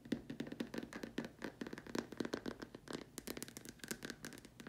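Long nails tap and scratch the curved sides of a large, empty, white hollow plastic dome lamp shade. The result is a quick, steady run of soft, dry clicks and scrapes with a hollow low-mid tone. Each tap dies away almost instantly.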